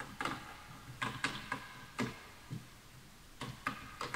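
Fingertips of both hands type on a full-size bamboo wood computer keyboard with wooden keys, while the mouse is left untouched. About nine short, hollow, bright wooden clicks land at an uneven pace, each fading quickly. The keystrokes stay soft and quiet, with brief pauses between them.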